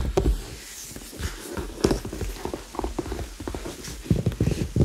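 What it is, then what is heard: Leather handbag, hollow. Fingertips tap on a hollow red leather handbag held close to the microphones, giving quick knock-like hollow taps. The taps are dull and low-heavy with very short ring, coming in an uneven patter that grows busier toward the end.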